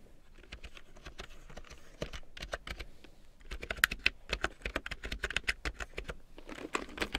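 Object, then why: Plastic computer keyboard. A full-size large print keyboard with a black plastic frame and big yellow plastic keycaps, lying on faux fur, is typed on with long painted nails and fingertips. Quick, dry, bright clicks and taps come in irregular bursts, with a brief lull around three seconds before louder, sharper strokes pick back up.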